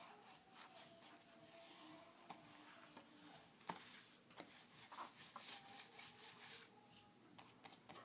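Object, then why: Glossy paper magazine cover. Fingertips and short nails rub, trace and scratch across the glossy paper cover of a closed car magazine lying flat on a dark table, its pages backing the thin cover so it isn't hollow. The sound is a quiet, hissy, bright rubbing and scraping, broken by a few sharp, short clicks from nail contact.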